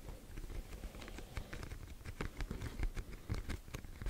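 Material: Cardboard.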